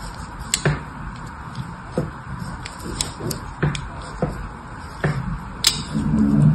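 A small thin metal blade, held in one hand with long red nails, scores carve lines into the surface of a solid rectangular green bar of soap held in the other hand. About ten short, irregular scraping strokes sound as dull low thuds topped with bright, crisp scratchy ticks, each dying away quickly over a soft steady background hiss.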